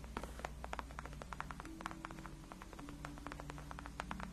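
Long acrylic nails scratch and tap along the top and sides of a large white padded faux-leather (PU) gaming chair backrest that is solid and cushioned. Quick, dry clicks with a bright edge, centered around 1.3 kHz, land in a rapid, irregular stream over soft scratching. A steady low hum runs underneath throughout.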